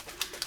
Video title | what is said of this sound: Mixing gold, silver or white inks with alcohol ink art | till you can hear the sound of the ball inside it